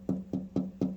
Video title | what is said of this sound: checking if a bike gas tank has been bondoed | if i go like this here it sounds solid